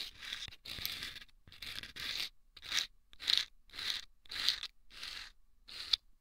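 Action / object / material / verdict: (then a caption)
scrape / rolled sandpaper tube scraped with wooden toothpick / sandpaper / none. Wooden toothpicks scrape the sandpaper inside two small hollow rolled sandpaper tubes placed over the microphone's ears. The result is a series of short, bright, hissy scraping strokes separated by brief pauses, with almost no low end.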